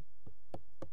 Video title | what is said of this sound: [원주MBC]다큐 나는 산다 평창을 시에 담다 | 돌 소리가 나는 게 아니라 플라스틱 소리가 이렇게 나고 있습니다